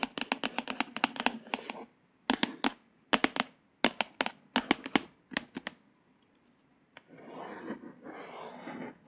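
A single long nail traces the embossed letters on the glossy cover of a hardcover paper book with slow scratches. Clusters of sharp, bright ticking scratches come in short bursts separated by near-silent pauses. A softer, continuous rasping scrape follows near the end.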